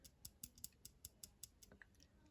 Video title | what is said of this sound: Sencut Episode!!!! Great knife 🔪 | that's that pin that's making that noise